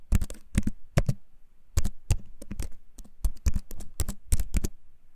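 A compact wooden keyboard, held up in both hands close to the mic, is typed and tapped quickly across its keys with the fingertips. About 22 short, dry clacks come in quick bursts, with a deep, thuddy low body and almost no ring after each one.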